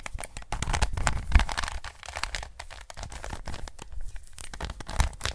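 A standard-size plastic 3x3 Rubik's cube is turned in gloved hands, its layers rotated in quick, uneven succession. The result is a dense run of clicky plastic scraping and sharp snapping, with short dry clicks that die away almost instantly over a low rumbling undertone.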